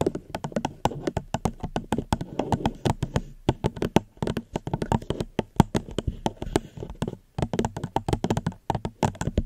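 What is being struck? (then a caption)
Plastic cup. Gentle tapping on a plastic cup close to a microphone, in a steady run of many short, dry taps with brief pauses. Each tap is a soft, low, hollow thump with almost no brightness that dies away instantly.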